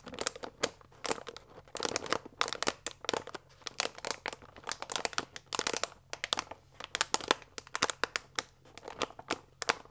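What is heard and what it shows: A full paper fusilli bag with a plastic window lies flat while fingertips and nails press and scratch across it. Rapid bright crinkles and crackly scratches come in short, sharp bursts with almost no low end and no ringing, leaving a dense, papery rustle throughout.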